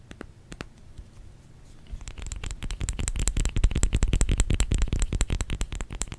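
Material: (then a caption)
Soap. Fingers tap on a solid bar of soap, starting with a few sparse, soft taps and then speeding into quick, uneven drumming after about two seconds. Each tap is a short, dull thud with a bright clicky edge, growing louder as the tapping gets denser.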